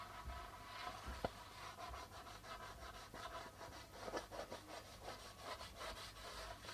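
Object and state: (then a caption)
Darbuka drum with plastic head, rubbed. A flat palm and fingers rub across the white plastic membrane of a hollow, hand-held darbuka drum, making quiet, continuous brushing and scraping strokes. A single sharp tap stands out early on, and a low hum sits under the rubbing throughout.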